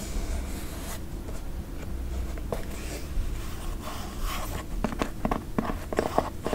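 An empty white leather sneaker with a rubber sole is held close and fingernails scratch and tap across its sole, upper and lace area. A steady low rumble runs underneath soft, dry scratching, and sharper, brighter taps and clicks cluster toward the end.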